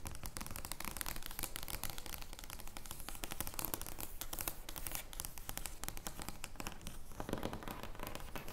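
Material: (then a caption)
Paper card. Long painted nails scratch and tap an oversized paper joker playing card made of thin card stock, lying flat on a wooden table. A dense, steady stream of crisp papery scratches and quick taps runs throughout with only slight swells in level.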